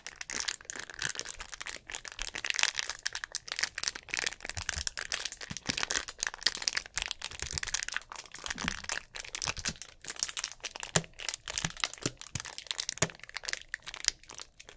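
Hands crush and crinkle the thin walls of a hollow, clear plastic drink bottle with an orange cap and a little liquid at the bottom. Dense, bright crackling and crinkling runs throughout, broken by sharp snaps and crunches that die away almost instantly, with very little low end.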